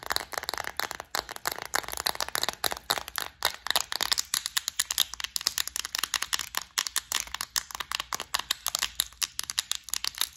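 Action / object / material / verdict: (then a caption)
tap / clear plastic bead organizer lid tapped with fingernails / plastic / none. Long acrylic nails tap and scratch the lid of a clear plastic, flower-shaped compartment organizer full of gold beads, held close up. A rapid, steady run of dozens of sharp, dry clicks mixes with scratchy scraping. The sound is bright and crisp with almost no low end, and each tap stops instantly.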